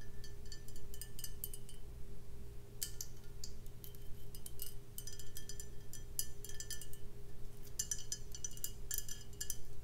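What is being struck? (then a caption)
Glass beer bottle. A full brown glass beer bottle with a paper label and a foil-wrapped neck is tapped on its body with long nails. The result is rapid clusters of bright, short glassy clicks and clinks, separated by brief pauses, over a steady low hum.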